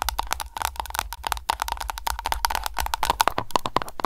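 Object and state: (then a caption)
Candle container tapped with nails. Long nails tap rapidly on an aroma candle container, giving a dense run of short, sharp clicks with a faint ringing tone near 1.1 kHz, mixed with scratching and lid sounds. The taps come in quick succession with no lingering resonance.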